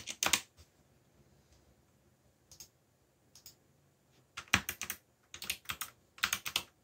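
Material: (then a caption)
Plastic. Fingertips type on a backlit mechanical computer keyboard with black plastic keycaps. Bright, crisp clicking taps come in short bursts separated by quiet pauses, each keystroke dying away almost instantly, with a denser run of typing in the second half.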